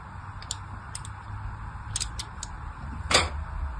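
A thin blade tip scores fine lines into a solid, palm-sized pink striped soap bar held in hand. Several short, crisp scratching ticks sound over a low steady hum, with the last one the loudest and brightest.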